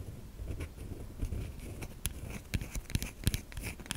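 Long nails scratch across the grooved surface of a white solid bar of soap held in the hand. Irregular dry scraping and crackling is punctuated by sharp, bright clicks over a low, muffled rumble.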